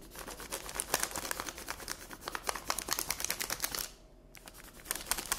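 Long red nails rest on a flat sheet of paper colored with pink pencil lying on a table and tap on it with their tips while the hand stays in place. The result is a rapid run of sharp, dry, bright clicks that stop for a brief pause just before the four-second mark, then resume.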